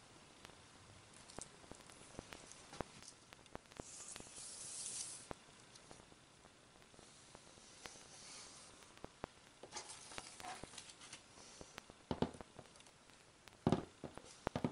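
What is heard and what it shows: Long red-painted nails on both hands scratch and rub across the flat leopard-print fabric lining over the empty base of an open hard-shell suitcase. The result is a quiet, steady fabric rustle with bright hissing swells and many sharp little clicks and ticks, including a few louder snaps near the end.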